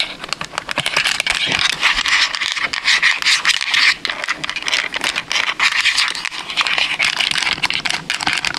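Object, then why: Hard plastic game controller tapped and scratched with long nails. A white PS5 DualSense controller of hard hollow plastic, held in both hands close to the mic, is tapped and scratched with long acrylic nails across its shell and buttons. The result is a fast, dense stream of dry, bright clicks and scrapes centered around 2 kHz, with almost no low end and each tap dying away instantly.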